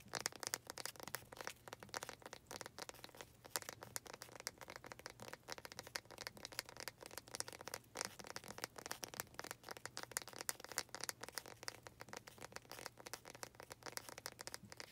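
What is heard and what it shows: Long nails tap and scratch the front face of a small faceted wooden planter with a knot, held up close. The result is a quiet, continuous run of quick, dry clicks and crinkly scrapes that are mostly bright, with a faint steady low hum underneath.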